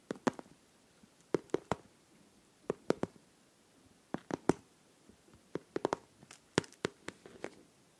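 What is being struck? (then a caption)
Liquid-filled plastic pencil case. Long nails tap and scratch a hollow, pink transparent plastic pencil case filled with liquid, glitter and popsicle charms. The result is a quiet series of sharp, irregular clicky taps with a hollow midrange knock and bright tips, each dying away almost instantly, with faint scratching between them.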